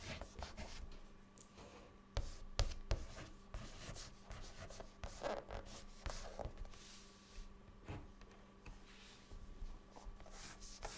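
A white chalk stick held in the fingertips writes words across a flat, dark, solid chalkboard. Dry, scratchy strokes come in quick, uneven bursts, broken by a few sharp taps as the chalk meets the board. A faint steady hum runs underneath.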